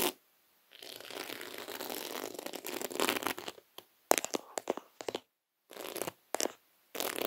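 Several fingertips tap and scratch across a flat, round placemat made of small reddish beads coiled in a spiral, resting on a table. A long stretch of dense, bright, gritty rattling scratches gives way to short, sharp clicking taps and brief scratchy bursts separated by pauses.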